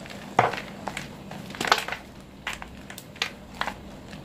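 Fist-sized pieces of white reformed gym chalk (magnesium carbonate), solid and powdery and taken from a pile of chalk cones in a teal bowl, are crushed and crumbled between bare fingertips and palms. Irregular dry, gritty crunches and crackles with a bright edge break out over a faint low steady hum, each one fading quickly.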